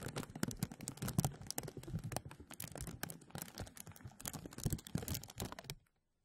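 Both hands rub and grasp a thin translucent plastic bag stretched over a mesh microphone, making dense, close crinkling and crackling. The bright, rapid crackles carry a low rustle underneath, swell and ease for about six seconds, then stop abruptly into silence.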